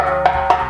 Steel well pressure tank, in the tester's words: Majority of this tank is full of air, so you're going to hear that hollow sound.